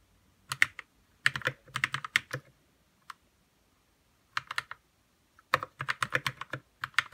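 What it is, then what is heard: Plastic mechanical keyboard being typed on. Fingertips type on a white 60% RK61 mechanical keyboard with plastic keycaps and lubed red switches. Quick, bright keystroke clacks come in short flurries separated by brief pauses. Each keystroke is crisp and dies away almost instantly, with little low-end thump.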